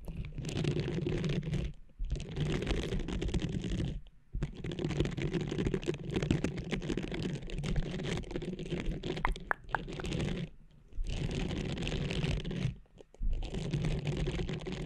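Long nails scratch the textured surface of a small blue silicone cleansing pad draped over a microphone. The result is a dense, continuous scratchy rustle heavy in low-end rumble, broken by a few brief pauses.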